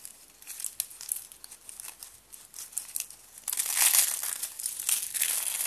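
Fingers with blue nails bend and break a stack of thin white dry soap sheets, sending flakes falling. Soft, dry crinkling snaps come first, then after about three and a half seconds a louder, dense run of bright crunching and cracking. Nearly all the sound is high and crisp, with no low body.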